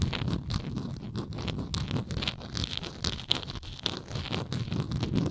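Long nail tips scratch the bottom edge and side of a hollow, textured plastic Tums tablet bottle with a blue lid. The result is a steady run of rapid, dry, crackly scraping, with bright crisp grit over a dull, hollow low body. Short louder scrapes pop out around the 3 kHz range.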